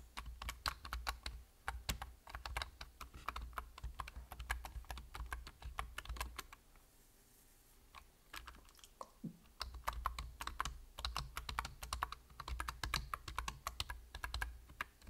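Fingertips with short nails rapidly tap the plastic keys of a full-size black plastic computer keyboard with a hollow body, producing dense, sharp clicky keystrokes over a steady low hum. The typing stops for about three seconds midway, then resumes at the same quick pace to the end.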